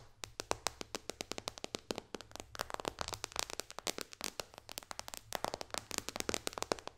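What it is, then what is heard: Glass tablet touchscreen tapped with nails. Long dark nails tap quickly on the glass touchscreen of a white iPad lying flat on a pillow. About fifty sharp, dry clicks come in a rapid, uneven stream, each bright and ending instantly with no ring, over a faint low hum.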